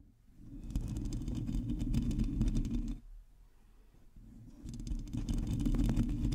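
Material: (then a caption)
Metal mesh. Long teal acrylic nails on both hands scratch and tap the hollow domed metal mesh grille of a black USB condenser microphone. It makes a dense, low, rumbling scratching with quick taps that fades to a quiet lull around the middle before building back up.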